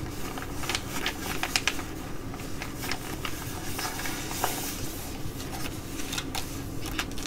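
Long nails tap and scratch a black Galantry laminated plastic sheet mask packet as it is held and then laid flat. Sharp, bright clicks and crinkly scratches ring out briefly over a steady low rumble and hiss.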